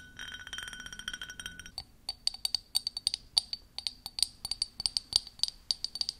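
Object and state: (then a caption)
Ribbed glass tumbler. Long manicured nails scratch and tap a clear, ribbed, hand-sized drinking glass that is hollow and empty and held up close. It opens with a steady, bright scraping rasp for under two seconds. Then comes a quick, uneven run of sharp, high clinks with a short glassy ring and almost no low end.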